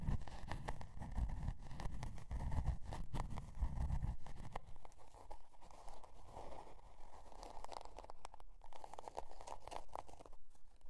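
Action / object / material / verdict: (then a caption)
scrape / cardboard notebook cover / cardboard / none. Long dark nails scratch across the scale-pattern cardboard cover of a spiral-bound notebook resting on faux fur. The scratching is dense and crackly, with a heavy low rumble for the first four seconds before it thins to a lighter, quieter rasp.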